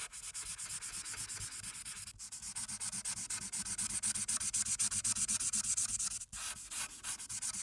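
A felt-tip marker, held in a hand with long painted nails, rubs back and forth over a flat paper colouring sheet clipped to a clipboard. Rapid, steady strokes of about four per second make a bright, hissing scratch, with brief pauses near 2.2 and 6.3 seconds.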